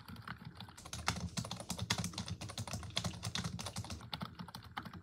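Long acrylic nails and fingertips type continuously on a full-size black plastic computer keyboard resting on a wooden desk, pressing the hollow plastic keys rapidly. A steady stream of quick, dry clicks and taps, each with a bright, crisp edge over a low, hollow plastic thud, dies away almost instantly.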